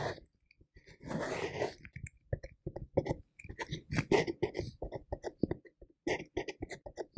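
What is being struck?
Plastic container lid.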